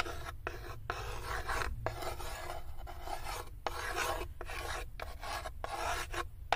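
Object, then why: Light unfinished wooden tray. Long acrylic nails scratch and rub along the inner edge and floor of a light, unfinished wooden serving tray with cut-out handles, open, hollow and empty. The result is a dry, rasping scrape in repeated strokes separated by brief pauses, with a steady low rumble underneath.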